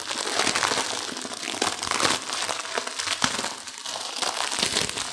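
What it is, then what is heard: Instant noodle pack, dry noodles crushed. A plastic-wrapped instant noodle pack is turned to its other printed side while fingertips and long nails squeeze and crush the dry noodles inside the crinkly wrapper. The result is a steady, bright crinkling of plastic mixed with sharp crunchy snaps and crackles of breaking noodles, with almost no low end.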